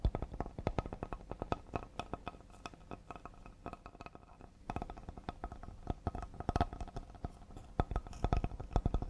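Fingertips and nails from both hands tap rapidly on a solid cedar serving board. The taps are short and dry with almost no ring, forming an irregular patter that thins out briefly in the middle before picking up again.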